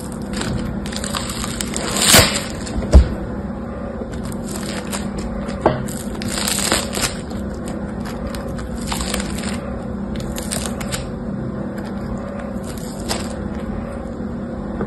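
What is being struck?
Foam bead slime (floam).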